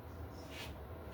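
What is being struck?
Nothing is struck.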